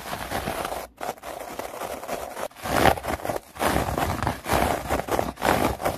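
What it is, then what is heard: Artificial grass mat. A synthetic plastic artificial grass mat has its surface scratched and tapped fast with long nails. The result is a dense, crackly rustle of plastic blades in quick bursts, centred in the midrange with a bright edge and broken by brief pauses.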